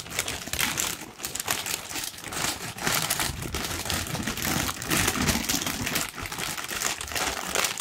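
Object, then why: Thin tissue paper sheet. A large, thin pink tissue paper sheet is crumpled and rubbed between the fingers. The result is a steady, dense, bright crinkling and rustling that swells and dips in loudness without clear separate hits.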